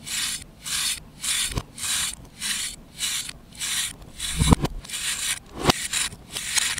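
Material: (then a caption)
Chalk. A knife blade scrapes across a solid compressed baking soda/chalk disc held in the palm, powder falling away. There are about ten bright, hissy rasping strokes at a slow, uneven pace, with a few sharp clicks and low thumps between them.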